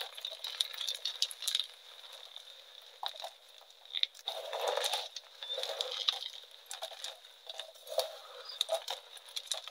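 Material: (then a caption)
Chalk. Both hands squeeze and crush small solid pieces of reformed, pink-dyed gym chalk from a crumbled pile on a metal tray. Bright, crunchy crackles and crumbling bursts rise and fall throughout, with no low end and a faint steady high tone underneath.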